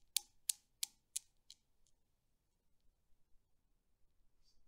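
A long-nailed finger releases the solid steel balls of a desktop Newton's cradle, and they swing and knock together. Five sharp, bright metallic clacks come at a steady pace and fade in strength, followed by near silence with a faint low background and one soft high tick near the end.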